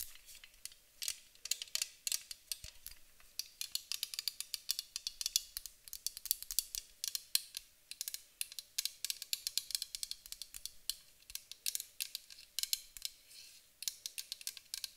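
Long acrylic nails tap rapidly around the body of a hand-held white Avène aluminium aerosol spray can, a hollow metal can. The result is a steady stream of quick, dry, bright clicks with a high metallic tick, almost no low end, and virtually no ring after each tap.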